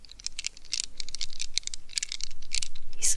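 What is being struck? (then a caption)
Rubber squeeze ball in a plastic net. Long red nails tap and scratch a mesh squishy stress ball, a rubber squeeze ball covered in a plastic net. The result is a rapid, uneven run of crisp, bright clicks and scratchy ticks that grows louder over the clip. It ends in a brighter, harsher scrape.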